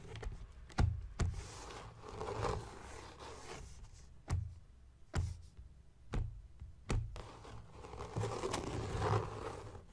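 Fingertips and nails scratch and tap the cover of a closed blue embossed leather journal near its strap clasp. Dull, low thumping taps stand out over softer, rustling scrapes that swell and fade between them.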